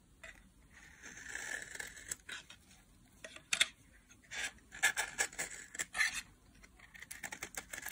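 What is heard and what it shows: A solid pink translucent bar soap, held in a hand with long nails, is shaved with a metal blade. Dry, crisp scraping and cutting strokes come in a quiet, irregular series of bright bursts. There is almost no low end and no ringing after each stroke.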